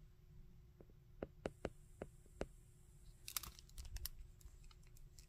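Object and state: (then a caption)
Hard plastic action figure. Fingertips tap, scratch and bend the joints of a hard plastic Shocker action figure, moving over its textured leg and head. A few sharp, separate clicks give way to a denser run of bright, scratchy ticks and creaks over a faint steady hum.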